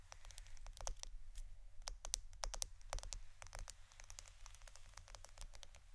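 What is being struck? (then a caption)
Roll of plastic adhesive tape. A roll of plastic adhesive tape is tapped and scratched for ASMR, giving a rapid run of soft, dry clicks and light scraping with a bright, high edge. The clicks die away almost instantly over a steady low rumble.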